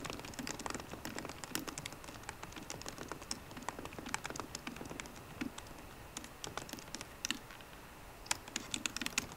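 Fingertips with short green nails type rapidly on the low-profile plastic keys of a 13-inch aluminum MacBook Pro laptop keyboard. The result is a quiet, steady stream of short, bright clicky taps with soft thuds underneath. Each tap dies away almost instantly, with a few louder taps near the end.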